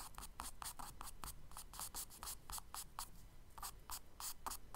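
A charcoal stick scratches quick hatching strokes across the solid surface of a tan kraft paper page in a spiral sketchbook. Each short, dry scrape has a bright, hissy edge and a midrange rasp, in a steady rapid rhythm over a low background rumble.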